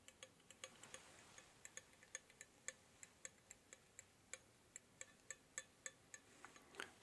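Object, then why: Painted metal desk stapler. A closed, solid-bodied red-painted metal Swingline desk stapler is held in one hand while the fingertips and nails of the other hand tap and scratch along its top. The result is a quiet, irregular run of short, sharp, bright clicks with a faint high metallic ring, much like a ticking clock. A brief scratchy flurry comes near the end.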